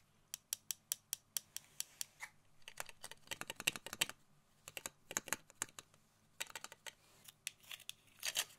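A small, clear hard-plastic tape dispenser holding a roll of tape is tapped with long nails. The result is dozens of sharp, bright clicks that die away almost instantly, coming as steady single taps, then rapid flurries and short pauses.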